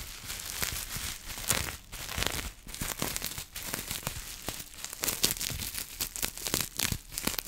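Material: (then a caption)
Plastic. Clear plastic bubble wrap held close is scratched and crumpled by long nails, giving a dense run of bright crinkling, crackling and tearing-like rustles. The sharp scratches come in quick uneven bursts, mostly high in tone with little low end.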